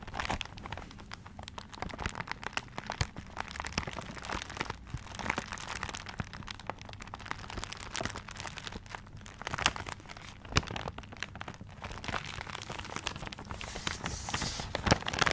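Fingertips scratch and crinkle the wrapping paper of a paper-wrapped gift tilted near the microphone. The result is a dense, steady run of soft crackles and crisp crinkles with brief sharp snaps, spanning low body to bright paper hiss and growing a little louder toward the end.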